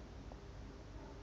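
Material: Nothing is struck.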